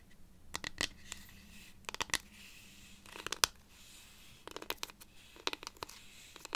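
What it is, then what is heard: Cactus wood rainstick scratched. Long nails scratch the ridged surface of a hollow, dried-cactus wood rainstick held upright, near its yarn band. Quiet, bright, dry scratches come in short irregular bursts of quick strokes, with almost no ring after each one and little low end.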